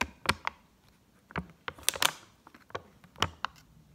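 Long acrylic nails quickly tap and scratch along the surface of a single Egyptian 10-pound paper banknote held up in the air, with other folded notes lying untouched on the table. About nine sharp, dry, bright clicks and papery scrapes come in uneven bursts, each dying out almost instantly over a faint hiss.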